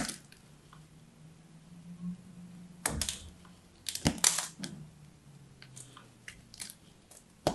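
A solid striped bar of soap, held in the hand, has its surface scraped with a small metal blade. Short, bright scratching and crunching bursts come in irregular clusters over a quiet, faint low hum, with louder scrapes near the middle and at the end.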